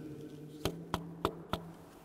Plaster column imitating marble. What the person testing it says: listen it's hollow very little in this room is made of marble